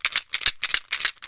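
A homemade shaker container filled with coins is shaken back and forth, giving quick bursts of bright, high-pitched metallic rattling with almost no low end. The coins make a clearly different sound from the shaker's previous filling.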